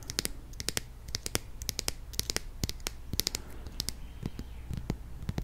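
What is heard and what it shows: Long nails tap and scratch the label and orange flip cap of a mid-sized plastic squeeze bottle filled with honey. A rapid, irregular run of short, dry clicks and scratchy ticks sounds over a low, steady hum. Each one is bright and high, and none of them ring on.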